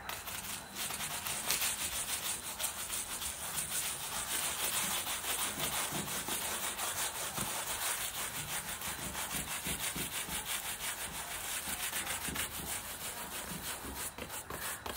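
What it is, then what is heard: Suede boot being brushed. A wooden-handled bristle brush scrubs the wet, foam-covered upper of a worn black suede boot. The bristles make a steady, bright, hissing scrub of quick, fairly regular strokes, about three per second. The scrubbing runs without pause for the whole clip.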